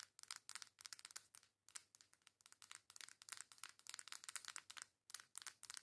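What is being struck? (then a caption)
Cardboard makeup palette. Long nails rapidly tap and scratch the surface and edges of a flat pink cardboard makeup face palette. The result is a quiet stream of dry, bright clicks and crinkly scrapes with almost no low end, each dying away at once, broken by brief gaps near 1.7 and 5 seconds.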